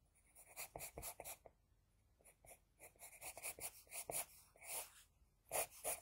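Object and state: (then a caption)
Drawing paper scratched by pencil. An HB pencil scratches and rubs across a flat sheet of drawing paper while shading lashes, making a quick series of short, bright, scratchy strokes. The strokes stop briefly near the middle, then resume with some louder rubs toward the end.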